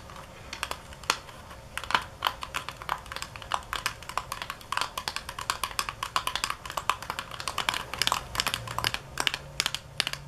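Long nails tap rapidly on a small, hollow paperboard nail-art box and on its clear plastic window, which shows decorations inside. The taps are dry, bright clicks that die away almost instantly, coming in quick irregular bursts over a faint steady low hum.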